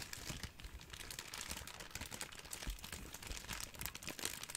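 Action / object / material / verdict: scrape / ball of thin plastic cling wrap / plastic film / none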